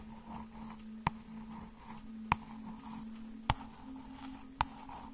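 A small hardcover children's book with a glossy cardboard cover, held in one hand, has its cover tapped and scratched with long nails. Four sharp, dry taps with a bright click sound about a second apart. Soft, quiet scratching continues between them over a low steady hum.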